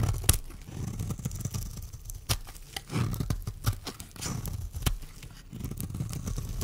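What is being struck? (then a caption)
Bar of soap scraped with a blade. A metal blade scrapes and shaves curls off a solid, dry pink bar of soap held in the hand. Low, crumbly scraping is broken by sharp, bright clicks and crunches, with short pauses between strokes.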